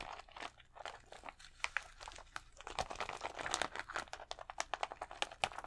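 Fingertips and nails scratch across a thin plastic sheet of colored acrylic rhinestone stickers pressed to the chest. The result is a quiet, steady run of dry crinkling and crunchy clicks in short bursts. Many sharp, bright ticks ring off almost instantly, with little low end.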